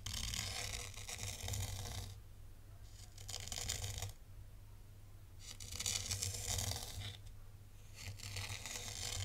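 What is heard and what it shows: A thin black stylus traces shapes in a tray of fine white sand, scratching through the loose grains with a bright, crisp, gritty hiss. The scratching comes in four longer passes separated by quieter pauses, over a steady low hum.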